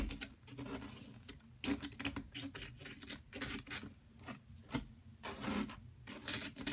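A metal pick digs into and scrapes a solid yellow plaster block held by a hand with long metallic nails. Quick, bright, gritty scratches come in uneven bursts, with brief dry pauses between strokes and no ringing after each one.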